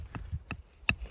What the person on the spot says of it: скло чуєте який чіткий звук